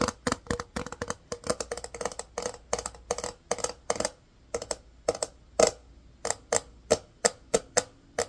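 A small, hollow, empty, rectangular case of clear hard plastic is held in both hands and tapped with the fingertips and nails. Quick bursts of sharp, dry clicks slow into more evenly spaced taps, each with a bright, hollow tone around 625 Hz that dies away almost instantly.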